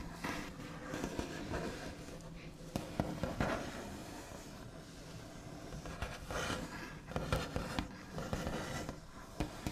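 The backs of fingernails tap, scratch and trace across a large solid wooden tabletop with a smooth white finish. Dull, knocking taps with short decay stand out over continuous dry, rustling scratches. The sound stays low and muffled, with little high-end brightness.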